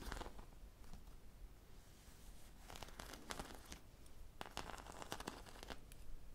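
Long nails scratch a hand-sized, popsicle-shaped squishy toy of soft, likely solid foam, with a bead or sprinkle coating and a stick, held close to the microphone. The scratching makes dry, crinkly, tearing bursts with bright edges over a low rumble. The strokes bunch into quick clusters near the middle and end of the clip.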